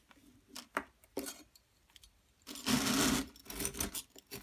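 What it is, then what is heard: Plaster excavation block being scraped. A hand with long nails holds a solid, medium-sized yellow plaster dig kit block shaped like a gold bar and scrapes it with a small metal chisel tool. Short, bright scratches and taps come in uneven bursts. Near the middle they give way to a longer, louder stretch of continuous gritty scraping, then more brief scrapes follow.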